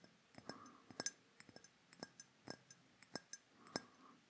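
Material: Glass.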